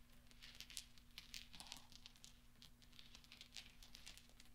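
Fingertips roll and spread small solid steel pachinko balls scattered across black velvet, making light clinking. Many quick, bright metallic ticks and taps come in soft, uneven clusters over a quiet, steady low hum.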